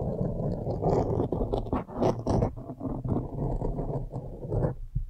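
Long nails scratch the sides of a blue foam windscreen on a microphone. The result is a continuous, muffled scratching and rustling that is heavy in the low end, with little high brightness, rising and dipping in rough waves before thinning out at the end.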